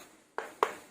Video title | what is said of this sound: Perbandingan Impact Wrench Coofari vs Monqiqi #impactwrench | plastiknya lebih keras